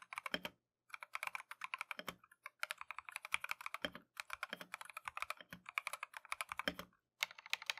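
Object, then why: Mechanical keyboard with plastic keycaps. Gloved fingertips type steadily on a compact Keychron V1 mechanical keyboard with Tangerine switches and green and white Matcha plastic keycaps. Rapid, bright, crisp clacks with very short decay come in quick bursts. Brief pauses fall near the one-second mark, around four seconds and just after seven seconds.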